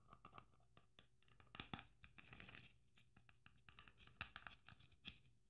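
Long nails scratch and patter over the sequins of a red sequin Christmas ornament trimmed with gold braid. The result is a quiet, uneven run of short, bright clicks and raspy scrapes, with a few sharper taps standing out.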